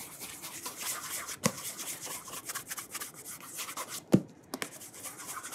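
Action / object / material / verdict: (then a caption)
scrape / leather dress shoe / leather / none. Fingertips rub polish along the leather upper near the sole edge of a burgundy calf leather cap-toe oxford with a rubber studded sole, held upside down in one hand. A steady, soft, bright rubbing hiss runs throughout, broken by two sharper, low knocks.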